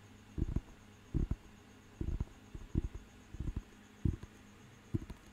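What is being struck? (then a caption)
Thick paper dictionary book. Fingertips tap the cover and page edge of a thick, solid paper dictionary book. The taps are soft, dull and low, landing in short clustered pairs and bursts with almost no ring, over a faint steady hum.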